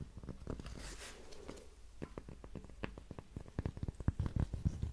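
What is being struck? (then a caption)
Thin cork coaster. A thin, flat, solid heart-shaped cork coaster is held up in one hand and tapped and scratched with long manicured nails. Soft, dull, low taps mix with a brief bright scratchy rustle near the start, then speed up into a quick, busier run of muffled clicks that stop short with almost no ring.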